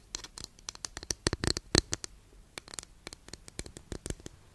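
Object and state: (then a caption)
Wooden incense holder tapped and scratched with nails. Long nails tap and scratch a long, flat, thin solid wooden incense holder in a quick, irregular run of dry clicks. The sharp, bright taps die away almost instantly, with soft scratchy rasps between them.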